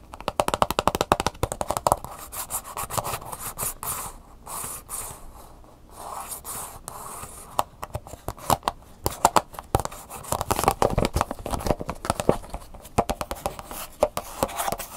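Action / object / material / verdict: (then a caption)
tap / clear plastic blister pack / plastic / none. Long fingernails scratch and tap the back of a hollow, clear plastic blister package that holds a printed paper insert and has a barcode sticker. Dense, rapid clicking taps alternate with softer scratching passes in the middle. The crisp plastic ticks center around the midrange, with a bright edge.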